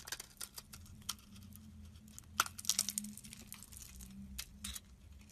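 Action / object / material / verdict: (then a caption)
scrape / bar of soap scraped with a metal blade / soap / none. A metal blade scrapes and slices chunks off the surface of a solid oval orange soap bar held in the hand. It makes a quick, irregular run of crisp, bright scraping and crunching strokes, with a few sharper cuts standing out, over a faint low steady hum.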